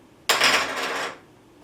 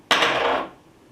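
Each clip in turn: First: plain PLA plastic coin. Second: bronze-filled PLA coin.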